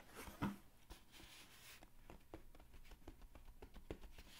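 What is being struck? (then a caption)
Cardboard mailer box. Fingertips and nails rub and scratch the closed lid of a medium, hollow brown cardboard mailer box. The result is a quiet, dry scraping texture broken by short, crisp ticks and light knocks that fade almost at once, with most of the energy sitting low and a faint bright hiss on top.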